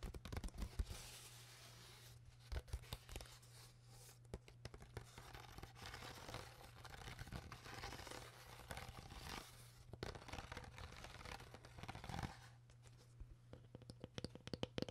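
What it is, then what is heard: Plastic water bottle. An empty, hollow, clear ridged plastic water bottle, tilted sideways, is squeezed and crinkled by hand while long nails scratch along its ridges. Quiet, dense crackling and scratchy clicks come in bursts with brief pauses, over a steady low hum.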